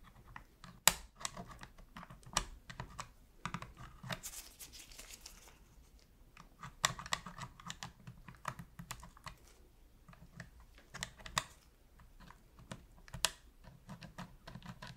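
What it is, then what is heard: Plastic game controller. A metal pick taps and scratches around the face buttons of a black, hollow plastic PS3 controller, giving quick, dry clicks. Bursts of bright tapping with a short scratchy stretch are spread across the clip, and each click dies away almost at once.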